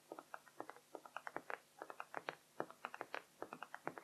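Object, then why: Small laminated whiteboard with plastic frame. Long pink-painted nails of both hands tap and scratch across a small handheld dry-erase whiteboard with a white laminated surface and blue plastic frame, lying flat on a blue fabric cloth beside untouched markers. About 28 quick, quiet, crisp clicks patter in an uneven rhythm, each dying away almost instantly, with a light mid-pitched tick and little low end.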